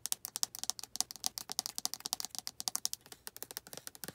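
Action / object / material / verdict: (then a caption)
tap / plastic lotion bottle / plastic / none. Long red nails tap and scratch the body of a white plastic lotion bottle near its white flip cap and black collar. About 36 quick, dry, bright clicks and scratchy ticks come in a fast, uneven run. Each one dies almost instantly and has almost no low end.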